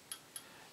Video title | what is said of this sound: Tube Lab #51 Biasing the Willsenton R8 or any Push Pull Class AB amp | no sound at all maybe maybe a tiny little bit